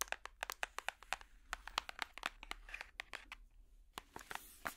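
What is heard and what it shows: Colourful plastic finger picks tap and scratch a large, solid hardcover children's puzzle book with a cardboard and paper cover. Roughly two dozen quick, dry, bright clicks and taps come with papery scratching in between. Each tap stops almost instantly, with no ring.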